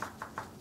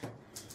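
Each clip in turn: First: young green rose stem, suitable for a cutting. Second: hard, over-woody rose stem.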